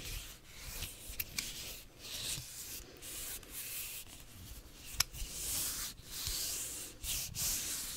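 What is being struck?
Whole English cucumber, ridged skin.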